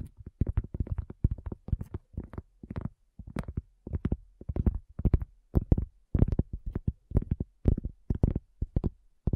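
A solid, round, flat cork coaster is tapped with long fingernails and fingertips in quick, uneven bursts. Each tap is a short, dull, low thud that dies away almost instantly, with no bright edge.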